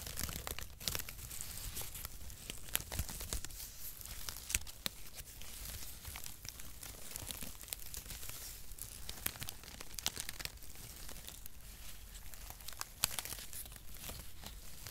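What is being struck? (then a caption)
Cardboard packaging shreds. A loose bundle of zigzag cardboard packaging shreds is crumpled and rubbed between fingertips close to the microphone. It makes a dense, continuous crinkling and crackling full of sharp, bright ticks over a low handling rumble, with quick flurries of tearing-like crunches throughout.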